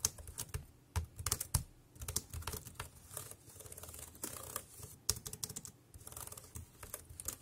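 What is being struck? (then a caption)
Plastic keyboard keys. Fingertips type rapidly on a compact dark grey plastic Bluetooth wireless keyboard with round keys and a hollow body, resting on a black plastic bag. A fast, uneven stream of short, dry key clicks comes with bright clatter on top and hollow low thumps underneath, each tap dying away almost instantly.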